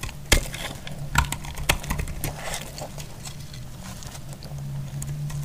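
A metal blade shaves a solid, dry cream bar soap into flaky chips. Sharp, crisp scraping crackles come at an irregular pace over a steady low hum, with a few louder snaps standing out early on.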